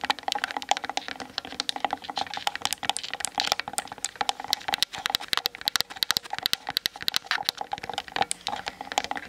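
Long nails tap quickly on the hollow plastic body of a Canon DSLR camera standing on a tripod, picked up by the camera's built-in mic. A steady, rapid stream of dry, bright clicks with no low end, each tap cutting off instantly with no ring, sounding much like fast typing on a keyboard.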